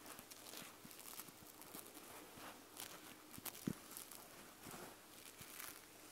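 Long nails on both hands scratch the white plush fabric back of an eye mask. The result is a quiet, steady, bright scratchy rustle with soft crinkly texture and one brief sharper scrape near the middle.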